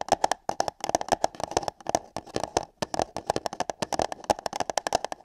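Long nails tap and scratch on hollow paper cups placed over a microphone's ears, giving around thirty-four quick, uneven, dry taps. Each tap has a hollow mid-pitched tone that dies away almost instantly, with bright clicky edges and soft scratchy rustle between hits.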